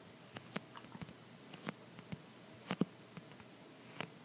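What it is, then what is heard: Clear plastic phone case. An empty, clear plastic phone case with a dotted back is held in one hand and tapped with the fingertips and short nails of the other hand. The result is a quiet, irregular series of short, dry clicks and taps, each with a soft low body and a bright, crisp tick that stops almost instantly.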